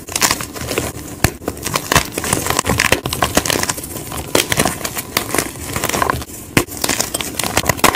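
Hands crush and crumble solid white gym chalk block pieces of magnesium carbonate with fingers and palms over a pile of powder. A dense, steady run of dry, crackling crunches and bright crinkling snaps continues throughout, punctuated by sharper louder cracks.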